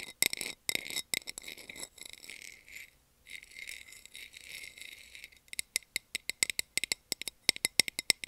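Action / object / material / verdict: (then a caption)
tap / small round plastic container lid / plastic / none. A small, round, empty clear plastic container lid is held in the hand and tapped with long nails. Bright, dry clicks and rapid rattly tapping fill the first half, broken by a brief pause near three seconds. The clip ends in a run of separate, sharp taps that stop instantly, with a tone around 2.1 kHz and almost no low end.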